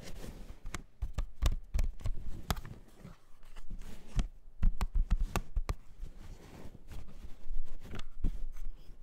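A plastic CD jewel case is tapped repeatedly at an uneven pace. Each tap is short, dry and clicky, dying away almost at once. The taps come in loose clusters with quieter gaps between them.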